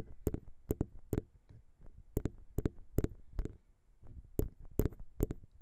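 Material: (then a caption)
Metal. Long pink nails tap the small, hollow metal XY microphone capsules on a Zoom H6, then the hands move to the sides of the recorder's body. Sharp, dry clicking taps come in irregular clusters, with no ring after each tap. Soft, low rubbing and handling sounds fill the gaps between them.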